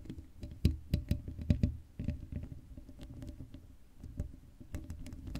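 Long acrylic nails on both hands scratch the black, hollow-dome metal mesh grille of an uncovered Blue Yeti microphone. The result is a rapid, dry patter of short scratches and taps, heavy in the low end, with a few louder thumpy strikes early on and a softer, steady scratching texture after.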